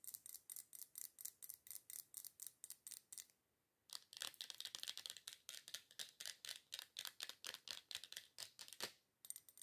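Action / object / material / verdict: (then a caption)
tap / glass candle jar filled with wax / glass / none. Long nails tap quickly on a wide red glass candle holder filled with wax, striking both the outer glass and the wax top. Around 43 short, bright, high-pitched clicks come in a fast, uneven rhythm, with a brief pause just before the 4-second mark. Each tap dies away almost at once.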